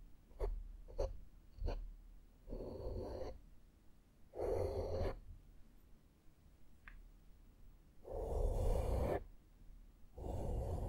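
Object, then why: Foam microphone windscreen. A small flat makeup brush is brushed across a black foam windscreen on a microphone. Three quick, soft strokes come first, followed by four longer sweeping passes. Each pass gives a close, muffled rustle with a deep rumble and a bright hiss, separated by brief quiet gaps.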